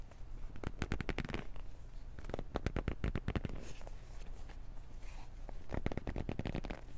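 A small, hollow black cardboard retail box with a hang tab is held in both hands, gripped and scratched with the nails. Quick bursts of dry, crackling taps and scrapes come in clusters near the start, the middle and the end, over a steady low rumble.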